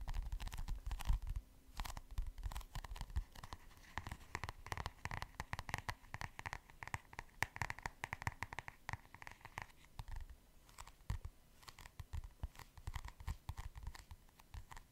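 Fingernails tap and scratch the printed cardboard cover of a large, flat, orange notebook held up in both hands. The result is a dense run of quick, dry taps and scratchy strokes with little ring, heavy in low thuds with a few brighter clicks.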